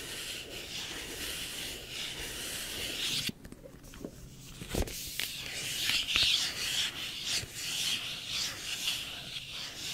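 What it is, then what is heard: Cardboard phone box scratched with fingernails. Long painted nails slowly rub and scratch across the glossy printed surface of a small, empty cardboard iPhone retail box held close to the microphone. The result is a soft, steady, bright scraping hiss that drops quieter for a moment partway through, then returns with a few sharper, crisper scratches.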